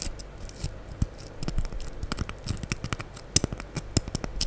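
A rectangular, solid, light-blue porous foam sponge held close in front of the microphone is scratched and rubbed with long acrylic nails. The result is a quick, irregular run of short, dry scratching and tapping bursts with bright crackly edges and a soft low thump under each one. They die away instantly over a faint, steady rustle.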